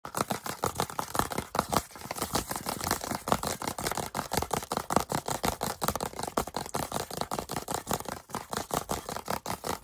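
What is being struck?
Soft plastic sunscreen tube.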